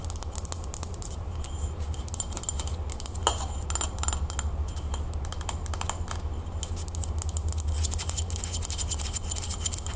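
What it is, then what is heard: Frosted glass candle holder scratched with nails. A hollow frosted glass candle holder is held in the hands while long nails rub and scratch across its frosted surface. Dense, rapid scratching and faint clicks give bright, sandpapery bursts over a steady low hum that runs through the whole clip.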